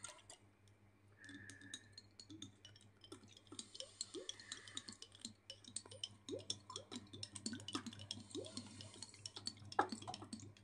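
Very long blue acrylic nails tap and scratch a small clear glass jar with a gold metal screw lid that holds dark contents. The result is a quiet, rapid stream of bright clicks and clinks mixed with short rising scratchy squeaks over a faint low hum.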